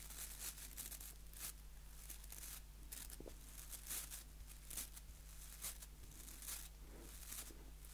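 Fingertips scratch the white plastic bristles of a small solid wooden nail brush held close to the mic. Repeated bright, crisp scratching bursts come and go over a steady low hum, at a quiet level.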